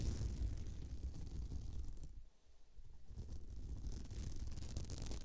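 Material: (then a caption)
Beads. Long nails scratch over the bead texture of a flat, sparkly beaded glitter placemat resting on the microphone, producing a dense, low, rumbling scrape with a faint bright hiss on top. The scratching briefly fades to near silence around the middle, then resumes at the same steady level to the end.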